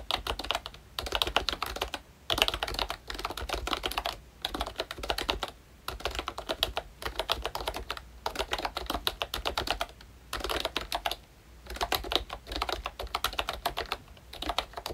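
Fingertips type steadily on a full-size Disney Mickey Mouse retro membrane keyboard by ROYCHE, with a pink plastic hollow case and round black plastic keycaps. The dense bursts of quick, bright, plasticky clacks come with short pauses between runs, and each keystroke dies away almost instantly.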